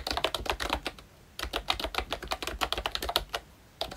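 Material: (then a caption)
Plastic. Fingertips of both hands type continuously on a full-size ROYCHE Disney Mickey Mouse–themed retro membrane keyboard with round plastic keycaps. Quick runs of short, bright plastic clicks and taps are broken by brief pauses near 1 and 3.6 seconds.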